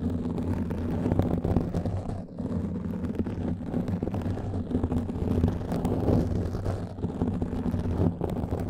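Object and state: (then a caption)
Foam microphone windscreen being scratched. Fingernails scratch and fingertips rub across a black foam microphone cover. The result is a dense, muffled, continuous rumble of scraping and rustling, heavy in the low end with a steady low hum and little bright content.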